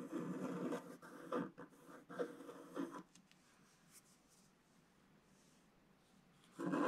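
A wooden stylus scrapes the black coating of a flat, wax-coated scratch art sheet, tracing along a spiral and curves. Dry, rasping midrange scratching comes in bursts for about three seconds, then falls to a near-silent pause before the scraping resumes loudly at the end.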